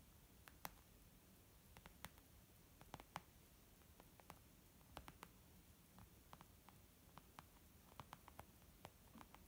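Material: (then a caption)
Leather. Fingernails tap near the edge of a white textured leather zip makeup pouch. Quick, dry, irregularly spaced clicks with bright tops and almost no ring rise above a faint, steady low rumble.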